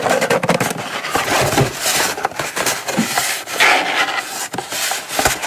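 Long nails tap rapidly on the lid of a small, closed, hollow brown kraft cardboard gift box, held in the hand and then set down on a mat. The taps are bright, dry and hollow-sounding, with a tone around 1.5 kHz and little low end, and each one dies away quickly.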